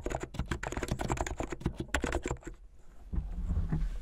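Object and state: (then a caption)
Plastic mechanical keyboard being typed on. Fingertips with long painted nails type fast on a full-size plastic mechanical keyboard with white and blue plastic keycaps, hollow keycaps on switches, and a blue backlit case. A rapid stream of short, clacky keystrokes with a deep, thuddy body and brief bright clicks runs for about two and a half seconds. The typing stops, and a quieter low rumble fills the last second.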